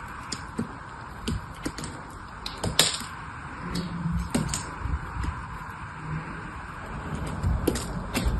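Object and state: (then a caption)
Bar soap being carved. A small metal blade carves and scrapes chips and curls off a solid purple bar of soap held in the hand. Short, crisp scraping ticks and clicks come at irregular intervals, with bright edges, over a steady low hum.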